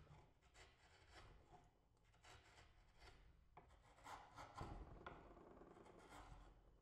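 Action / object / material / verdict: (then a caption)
scrape / small wooden block / wood / none. A steel chisel is worked by hand across a small, solid, light-coloured wooden block clamped on a pink cloth, paring and scraping a car-body blank for a 1970 Ford Mustang Boss 302 model. Quiet, dry rasping strokes repeat at roughly two per second, each a soft scraping shave with brief bright edges and a low rumble beneath. The block is then lifted in both hands.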